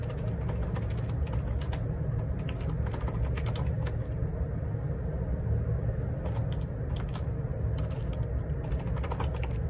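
Fingertips type on the plastic keycaps of a black plastic Perixx Periboard 612 wireless Bluetooth dual ergonomic split keyboard resting on a grey desk. Quick, bright clicking taps come in bursts over a steady low rumble, with a brief pause in the middle before the typing resumes.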